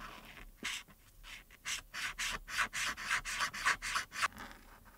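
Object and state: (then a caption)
Felt-tip marker scratching on paper. A hand with long red nails rubs the felt tip of a white plastic marker across a printed paper coloring page lying flat on a dark board, first with orange strokes on the arm and then with blue on the earrings. About twelve quick, steady scratching and rubbing strokes sound on the thin, solid paper, each a bright, dry rasp that stops almost at once, with quiet gaps between them.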